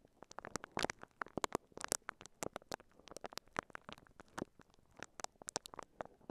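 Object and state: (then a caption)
Plastic-wrapped microphone being scratched. A microphone covered in clear, crinkly plastic wrap is brushed and scratched with the bristles of a pink silicone scalp massager held in both hands. The result is a quiet, dense, irregular stream of sharp, dry crinkles and scratchy clicks, each bright and very short with almost no ring.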